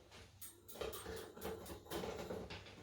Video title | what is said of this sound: Lockdown Science Sound | this slinky makes a very specific sound when you tap it